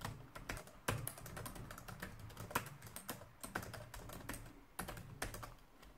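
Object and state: Plastic laptop keyboard being typed on.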